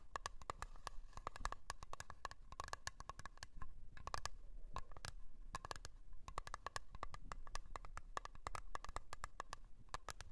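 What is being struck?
Small round metal tin with lid.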